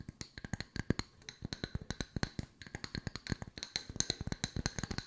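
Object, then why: Wooden slice coasters. Two solid round wooden slice coasters, held in the hands, are tapped rapidly with long nails, and one is briefly moved close. About 33 short, dry taps are heard in quick irregular runs, each with a low woody knock around 125 Hz and a bright clicky edge. Every tap dies away almost instantly.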